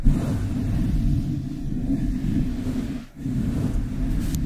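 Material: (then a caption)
Metal mesh. Long acrylic nails from both hands scratch the hollow metal mesh grille of a decorated desktop microphone. The result is a dense, continuous low rumbling scrape that drops out briefly near the three-second mark before resuming at the same level.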